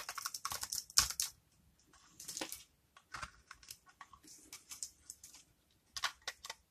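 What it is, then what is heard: Dry soap bar being cut. A hand-sized, dry solid white soap bar held in the palm is scraped and cut with a metal blade into small crisp pieces, revealing embedded colored soap dots. Bright, dry crackling cuts and scrapes come in quick bursts, separated by brief quiet gaps. The clip ends with a few sharp snaps.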